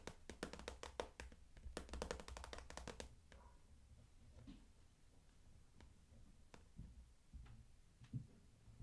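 Long nails tap on the front plastic panel of a medium clear PVC daisy-print vinyl makeup bag with pink trim, standing upright and full of makeup items while one hand steadies it. Quick bursts of short, dry clicking taps fill the first three seconds. Scattered, quieter single taps and soft low thumps follow.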